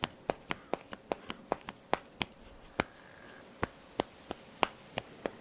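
Fingers with long nails pull, snap and rub the thin black elastic cross straps of a top, producing 19 sharp, dry snaps with almost no ring. The snaps are irregularly spaced over a quiet, faint hiss, and a brief soft rubbing tone appears in the middle pause.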